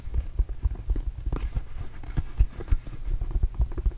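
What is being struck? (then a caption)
Inflated rubber mini basketball. Fingertips tap a hollow, inflated red and blue Arizona Wildcats rubber mini basketball close to the mic. The result is a quick, uneven patter of soft, dull, low thumps that die away almost instantly, with almost no brightness.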